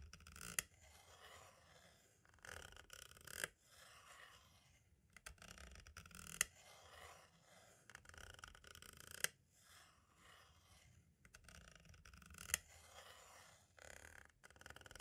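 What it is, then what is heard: Plastic audio cassette tape. A green-and-black striped tool taps and traces over the label and window area of a hollow plastic compact cassette shell. Soft, bright scratchy scraping comes in bursts, broken by quiet gaps and sharp dry clicks that stop almost at once.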